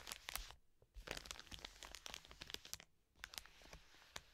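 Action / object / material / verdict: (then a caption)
scrape / soft plastic wet wipes packet / plastic film / none. Long nails scratch rapidly across the plastic film of a full, soft plastic wet wipes pack resting on a table. The result is bright, crinkly scratching and crackling in quick bursts, broken by two brief pauses.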